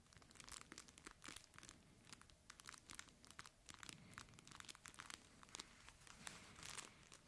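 A hand-sized, soft red fabric plush dog toy shaped like a chip bag and labeled "Dogritos," with crinkle material inside, is squeezed and crinkled with the fingers. A steady run of quick, dry crinkling bursts follows, bright and papery with little low end. Each burst dies away almost at once.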